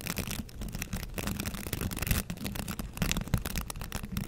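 Fingertips and nails brush and scratch the bristles of a green plastic bristle scrub brush held up close. The result is a continuous, dense scratchy rustle with a heavy low rumble and thin bright crackles, swelling in uneven bursts throughout.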